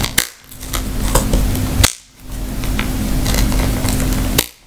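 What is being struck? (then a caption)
Woven rattan handbag. Long manicured nails tap and scratch across the woven weave of a round, hollow rattan handbag with leather straps and a snap tab, held in the hands. Sharp clicks punctuate steady, dry, low-heavy scratching and rustling. The bag is then opened.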